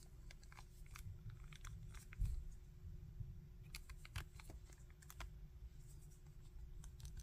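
Fingers flex the leg and arm joints of a small hard-plastic articulated Bardock action figure, producing a run of sharp, bright ratcheting clicks. The clicks sit quietly over a steady low rumble, with a few slightly louder snaps along the way.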